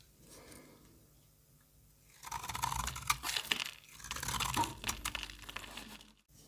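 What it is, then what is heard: Soap bar being carved. A solid pink embossed bar of soap held in the hand is scraped and carved with a metal box-cutter blade. After about two seconds of faint low noise, crisp, bright shaving cuts and scrapes arrive in quick, uneven bursts until the last moment.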